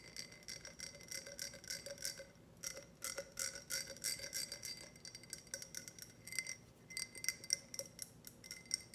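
A tall, clear, empty ribbed glass tumbler with a grid pattern is held and tilted while being tapped with long red nails. It gives a rapid, uneven stream of bright, high clinks and ticks that cut off almost at once, with a faint low tone under them.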